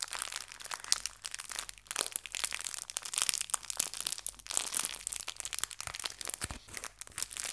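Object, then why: Thin clear plastic bag holding fabric leaves. A small clear plastic bag of artificial fabric leaves is folded and squeezed in the hands and crinkled with fingertips and long nails. It makes dense, continuous crinkling and crackling that is bright and high, with many sharp snaps and almost no low end.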